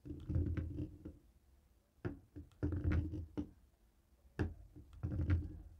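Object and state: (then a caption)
Plastic TV remote tapped with a stone roller. A jade roller taps and rolls across a dark grey plastic cable TV remote with buttons lying on a wooden table. Dull, low thuds and short rolling rumbles come in uneven bursts separated by near-silent pauses, each knock dying away quickly.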